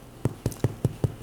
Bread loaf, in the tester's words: if you tap on it you hear that thumping sounds kind of hollow